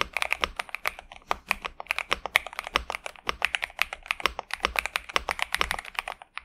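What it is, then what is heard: Mechanical keyboard with plastic keycaps. A pink and purple 65% Xinmeng M71 mechanical keyboard with TTC Superman switches and plastic keycaps, resting on a desk mat, is typed on continuously with the fingertips of both hands. The result is a rapid, steady stream of short, crisp, bright clacks centered around 2 kHz, with almost no low end and each keystroke dying away almost instantly.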